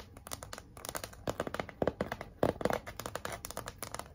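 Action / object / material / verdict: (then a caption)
scrape / flat cardboard sign with glitter lettering / cardboard / none. Long nails scratch and tap across a large flat pink cardboard heart sign, moving over its plain surface and its glitter "Be Mine" lettering. A quick run of dry, short taps mixes with papery scratching, with a few louder clicks standing out around the middle. Each hit dies almost instantly, centered in the low-mid range with little deep bass.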